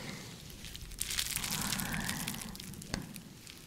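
A hand-sized, empty, clear bubble-textured plastic sleeve is squeezed and scratched with long nails. It makes soft, dense, bright crinkling and crackling that swells in the middle, with one sharper click near the end before settling back to a quiet rustle.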